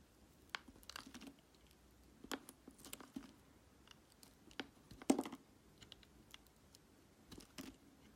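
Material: Glycerin soap.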